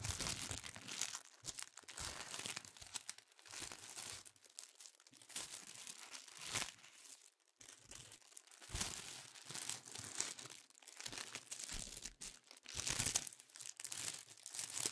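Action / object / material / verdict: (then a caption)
scrape / thin tissue paper sheets / paper / none. Thin pink tissue paper sheets are handled, crinkled with fingertips, folded and flicked. The result is a steady stream of soft, bright, crisp crinkles and rustles, with brief louder bursts and short quiet gaps, and very little low end.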